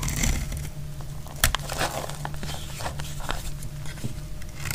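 A metal blade scrapes and cuts into a solid, dry white soap bar held in the hand, shaving off flakes. Dry, crackly scraping comes in short bursts over a steady low hum, with one sharper, louder cut near the middle.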